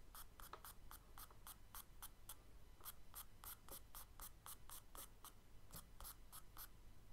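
A thin charcoal stick held in the fingers scratches and hatches short strokes across a page of a spiral-bound tan kraft paper sketchbook lying flat on a dark table. Quick, bright, papery scratches come in a steady rhythm over a quiet low hum, each stroke dry and short with almost no ring.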